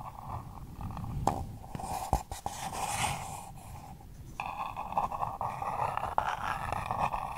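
Long purple nails scratch and tap the paper wall and rim of a small, empty pink paper cup held close to the mic. The result is a steady dry, scratchy rasp with a papery midrange tone, broken by sharp, brief taps and brighter flicks.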